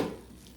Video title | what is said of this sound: Ninja Pizza V2.0 Quadruple tomato and pepperoni | If I tap it, I hope you can hear that pretty hollow sound.